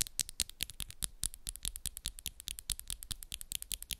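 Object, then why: Acrylic nails. Long, solid, coffin-shaped acrylic press-on nails, pink and black with moon designs, on one hand quickly tap and scratch against the nails of the other hand, close up. About 37 bright, sharp clicks come in a fast, uneven patter over four seconds, with faint scratchy rasps between them.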